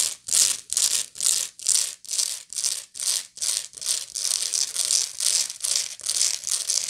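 Long nails scratch back and forth across the woven rounded bottom of a medium woven straw bag made of natural fiber, hollow and apparently empty. Each stroke makes a bright, dry, rasping hiss that swells and fades in a steady rhythm, with almost no low end. Toward the end the strokes come closer together and begin to run into one another.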